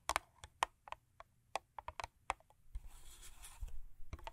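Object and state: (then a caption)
Paperboard box. Long acrylic nails, with rings on several fingers, tap and scratch the top and front of a closed, long thin purple Crest paperboard toothpaste box lying on fur. About a dozen crisp, dry taps with a hollow papery knock near 900 Hz come first. They give way to a soft, bright, rasping scratch over the cardboard.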